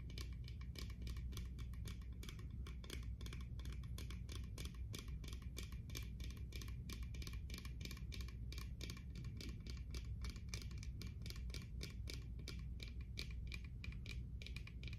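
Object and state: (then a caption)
Plastic sunglasses. Long manicured nails rapidly tap and click on the frames and lenses of a small pair of dark, hollow plastic-framed sunglasses held up close to the microphone in both hands, with some handling noise. The dense, steady stream of sharp clicks continues over a constant low rumble.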